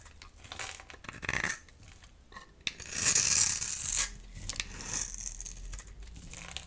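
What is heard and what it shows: A dry, solid rectangular pink Palmolive soap bar is held in the hand and scraped and cut with a metal utility knife blade into crumbly shavings. Bright, dry scraping and crackly crumbling sounds come in uneven bursts, with one longer, louder scrape in the middle of the clip.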